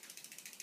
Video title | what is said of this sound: Redundant items | the rattle it does when you shake it, but when you squeeze down, there's no rattling at all from that tool